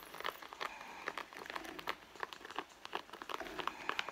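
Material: Leather.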